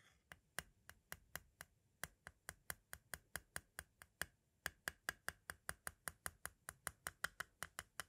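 A metal-tipped green tool taps rapidly near the tape window of a white, hollow plastic audio cassette shell. About 35 sharp, dry clicks land in a steady rhythm, each bright with a hollow plastic tone around 1.4 kHz and dying away almost instantly.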